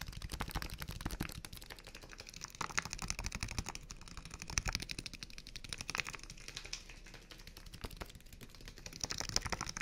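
A small, clear, partly filled plastic water bottle is held between both hands and rapidly tapped with the fingertips on its thin, hollow plastic sides. The result is a dense, steady stream of quick, dry, clicky taps with a bright top and a soft low thump beneath. Each tap dies away almost instantly.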